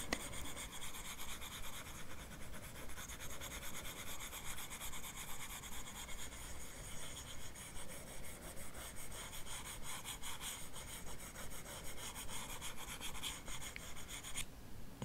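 The plastic tip of an Apple Pencil rubs across the solid glass touchscreen of a large iPad Pro lying flat, making rapid back-and-forth painting strokes. It is a quiet, steady, scratchy rubbing with a faint regular rhythm and a bright hiss, over a soft low rumble throughout.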